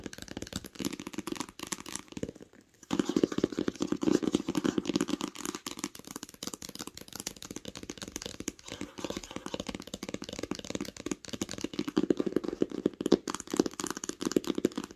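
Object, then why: Hardcover book, cloth-bound board. Long acrylic nails tap fast on the smooth cover of a large green hardcover book lying flat on a blanket. The dense, dry clicks have a hollow mid-range body, with a brief pause near the three-second mark before the rapid tapping resumes and continues steadily.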